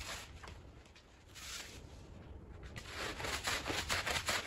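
A green push broom scrubs a small, wet, foamy fringed woven rug, making bright, bristly swishing and scraping strokes. The strokes ease off briefly in the middle, then return louder and faster toward the end.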